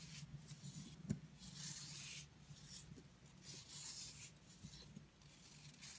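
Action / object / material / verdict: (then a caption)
scrape / bar of soap scraped with a blade / soap / none. A blade scrapes and rubs across the cut surface of a round, palm-sized solid pink soap bar with a blue core, held in the hand with crumbs around it. Soft, bright rasping strokes come in repeated waves over a low hum, with one brief sharp click early on.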